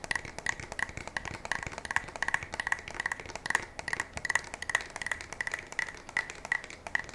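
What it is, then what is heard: Pump shotgun tapped with fingertips and nails. A black polymer-and-metal pump shotgun, held upright, is tapped on its fore-end and receiver with fingertips and nails. The result is a steady run of quick, dry, woody knocks, each with a short pitched click near 1.9 kHz and very little ring. Some sharper, brighter nail clicks stand out among them.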